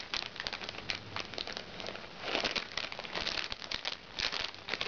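Red-painted nails scratch and tap the surface of a small, crinkly recycled plastic makeup bag resting on a lap. The result is dense, bright crinkling and rustling with quick sharp taps scattered throughout, and little low-end weight.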